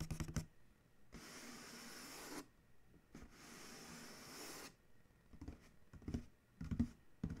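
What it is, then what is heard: Corrugated cardboard box. Several fingertips tap and scratch across the printed side panel of a large, hollow corrugated cardboard shipping box. A few quick, dull taps are followed by two long, steady, bright scratching strokes. Then come more scattered hollow taps and light scrapes with short, soft knocks.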